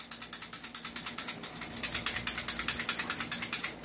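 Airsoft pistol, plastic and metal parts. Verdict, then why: Loose. A loose, non-upgraded airsoft pistol is shaken by hand, giving a loud, fast rattle of about 26 bright, short clacks with almost no low end. The rattling shows the unit is loose, unlike an upgraded one that stays quiet when shaken.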